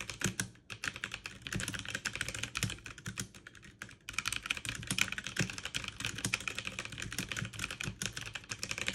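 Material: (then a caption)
Plastic. Fast two-handed typing with fingertips and long nails on a backlit mechanical keyboard with plastic keycaps. It produces a dense, continuous stream of bright, sharp clacks and taps with very short decay. The typing eases briefly just before the four-second mark, then resumes at the same quick pace.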